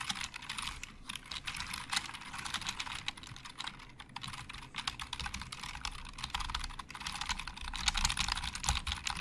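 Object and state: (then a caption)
Plastic computer keyboard being typed on. Both hands type with their fingertips on a black plastic Logitech keyboard with hollow plastic keys. The result is a steady, rapid clatter of bright, short clicks over soft low thumps, growing slightly louder toward the end.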